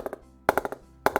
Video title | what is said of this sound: SS Gladiator 2020 with Virat Kohli on the toe. | so very much in the mid right there it's going like a gun